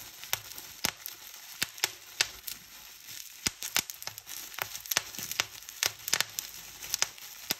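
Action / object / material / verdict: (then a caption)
scrape / plastic bubble wrap / plastic / none. A fold of clear plastic bubble wrap is pinched between fingertips, rapidly popping its air bubbles. Sharp, bright snaps ring out unevenly among steady crinkling, rustling plastic. Each pop is short and crisp, with almost no low end.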